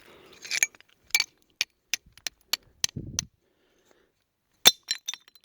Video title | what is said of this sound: Rhyolite Mine Adventure | sounds like glass doesn't it